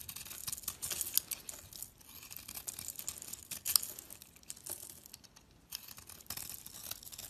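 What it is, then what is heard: Bar soap being scraped. A utility knife blade scrapes the outer layer off a palm-sized, purple-coated solid bar of soap held in the hand, exposing cream-coloured soap and leaving flakes. The sound is a quiet, dry run of bright, crinkly scraping strokes with almost no low end, each one cutting off quickly with a few sharper peaks between softer passages.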